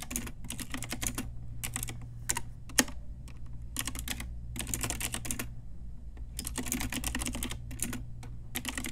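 An Ajazz pink typewriter-style retro mechanical keyboard with round plastic keycaps is typed on with long nails and fingertips. Quick bursts of sharp, bright plastic clicks come in clusters separated by short pauses, with one louder clack standing out near the start. A steady low hum runs underneath throughout.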